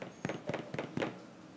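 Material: Bread.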